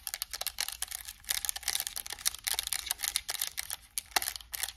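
Long acrylic nails tap quickly on the touchpad, buttons and hollow plastic shell of a white and black PS5 controller. The result is a dense run of short, bright clicks with almost no ring. There is a faint low hum underneath.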